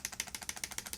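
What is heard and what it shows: A new Maybelline SuperStay Vinyl Ink long-wear liquid lip color tube in the shade Cheeky is shaken, as its directions instruct, producing a rapid series of bright, high-pitched plastic rattles. Something unidentified inside the tube clicks back and forth in short, dry bursts with almost no low end.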